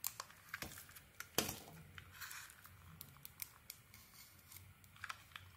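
A metal blade shaves the outer layer off a solid, hand-sized yellow bar of soap with butterfly prints. The strokes are quiet, crisp and crinkly, with bright scraping that starts and stops in short bursts. A sharper snap stands out near the middle.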